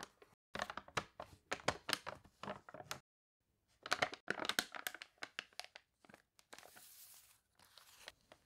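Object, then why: Glossy paper catalog. A wavy page of a glossy paper toy catalog is turned, and fingers rub quickly across the spread. Dense bursts of bright, crisp crinkling and crackling stop for a brief silence, then resume. The clip ends in a longer, hissy rubbing sound.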